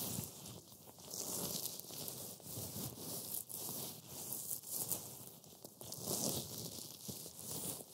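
Black-gloved fingertips rub and press fine green matcha wafer crumbs on a white board. A dense, bright crackling rustle runs steadily throughout, rising and falling in soft swells as the crumbs are crushed.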